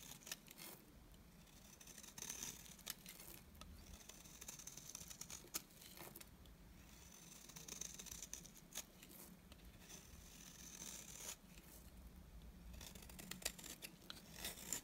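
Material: Soap.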